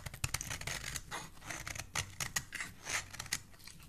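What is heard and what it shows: A solid cream-colored bar of soap, held in the hand, is shaved with a metal utility blade that peels off thin curls. A quick series of crisp, bright scraping strokes is heard, each a short dry rasp with little ring.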